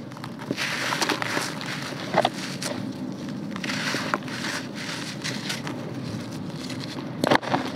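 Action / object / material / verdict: scrape / clumps of red soil / soil / none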